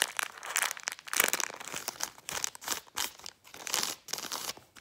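A folded brown kraft paper bag is crumpled and crinkled with fingertips and long painted nails. It makes dense, bright crackling and rustling in uneven bursts with brief quiet gaps, with almost no low end.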